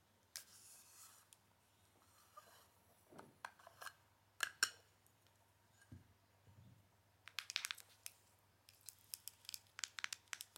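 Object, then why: Small round plastic powder jar. Long acrylic nails tap and scratch a small, hollow, round plastic loose-powder jar with a silver band, working over its lid, side and bottom. Sharp, bright clicks and dry scratching come in scattered bursts, and each tap dies away almost instantly with no ring.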